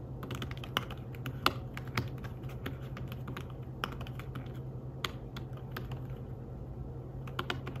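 Fingertips tap the keys of a slim fabric-covered tablet keyboard while typing, producing soft, quick clicks in an uneven rhythm. A few keystrokes land sharper and brighter than the rest, each dying away almost instantly over a steady low hum.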